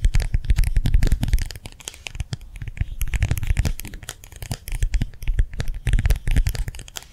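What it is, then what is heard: Gel hand warmer pad tapped with nails. Long nails tap quickly on a small, round, clear plastic gel-filled hand warmer pad held upright in both hands. The result is a dense run of short, dry clicks with a soft low thud under them. The tapping comes in louder bursts separated by quieter, sparser stretches.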